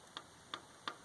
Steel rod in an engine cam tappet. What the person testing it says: tap it up and down off that Cam and you can hear it